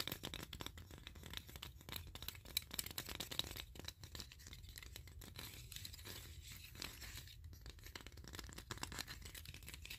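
Fingertips and short nails scratch and tap across the wooden ridges of a block of many wooden clothespins with metal springs, clipped side by side. The result is a quiet, steady stream of rapid dry, bright scratches and tiny clicks with a faint low rumble underneath, pausing briefly near the middle before continuing.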